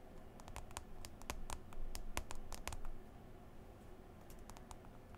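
Long green nails tap and swipe on the glass touchscreen of a smartphone in a white folio case, while the other hand rests on the case cover. Quick, irregular, bright clicky taps come in uneven bursts over a soft low rumble, with occasional faint swishes between them.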